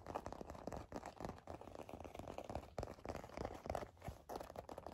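A black leather wallet is scratched and tapped with long nails, giving a dense, quiet stream of crinkly scratches and soft clicking taps. The sound stays in the midrange with short, dry hits that barely ring.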